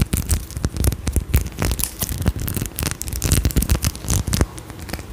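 Long nails scratch and tap a faceted glass perfume bottle with a gold cap close in front of a microphone. The result is a dense run of quick, dry scratches and short clicking taps with a bright crackle over a low, thumpy body, and no ringing after each touch.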